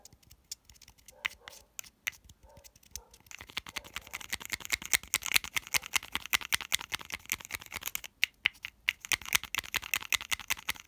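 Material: Plastic.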